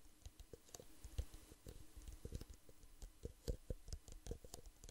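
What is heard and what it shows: Fingertips and nails tap rapidly and irregularly on the walls of two identical small, hollow, empty clear plastic drinking cups, one held in each hand. The result is a quiet, steady patter of short, dry taps with soft low thumps and faint bright clicks that die away almost instantly.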